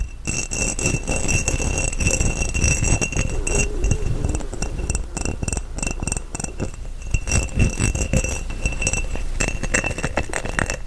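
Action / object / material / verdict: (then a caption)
tap / glass mason jar / glass / none. An empty, hollow, clear glass mason jar with its mouth open is held in both hands close to the mic and tapped and scratched with fingertips and nails on its embossed side. Rapid, irregular glassy clinks and taps mix with scratching over a low, full body, and a faint high ring carries through the whole clip.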